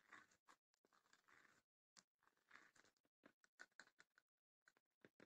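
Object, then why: Small wooden chest with woven rattan panels. Long nails tap and scratch on the lid and sides of a small, closed, hollow wooden chest with woven rattan panels. Quiet, dry clicks come in irregular bursts, mixed with rustling, scratchy strokes across the weave. The sound is mostly mid-to-high with almost no low end, and each tap dies away quickly.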